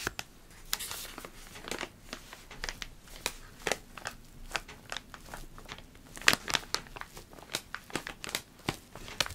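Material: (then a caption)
Foil-lined paper. A partly full, purple foil-lined paper coffee bag is crinkled and squeezed in the hands close to the microphone. The result is a steady series of sharp, bright crinkles and crackles that die away almost instantly, with little low-end weight.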